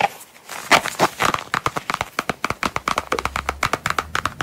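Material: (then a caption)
Coated canvas. A small, closed Coach wallet in dark brown coated canvas with a red star print is held in the hands and tapped and scratched with long, pointed, pearly nails. A brief soft scratching opens the clip, then a rapid, fairly even run of crisp, bright taps follows with slight crinkling, each dying away almost at once.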